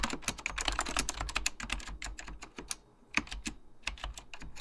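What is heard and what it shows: Fingertips type continuously on a beige plastic full-size Apple Extended Keyboard II, pressing hollow plastic keycaps over mechanical switches. A rapid stream of sharp, bright clacks with a light low thump beneath each keystroke is heard, each dying away almost instantly. There is a brief pause just before the three-second mark before the typing picks up again.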